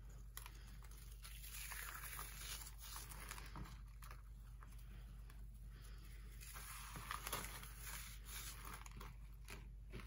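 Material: Pressed powder.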